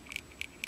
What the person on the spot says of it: You shake it up, you can hear that ball sound